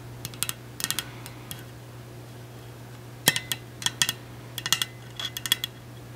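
Long acrylic nails tap the side of a large, hollow, pink powder-coated stainless steel insulated water bottle with a black plastic cap and a sticker. About nineteen short, bright clicky taps come in irregular bursts, each with a faint metallic ping near 1.8 kHz that dies away almost at once. A steady low hum sits underneath throughout.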